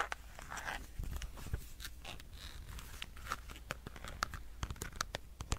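A solid black plastic power bank is scratched and tapped with fingernails. Soft scratching and crinkly, tearing-like scraping mix with sharp, bright clicks over a low, steady rumble. Many of the taps stand out as quick, dry hits that die away at once.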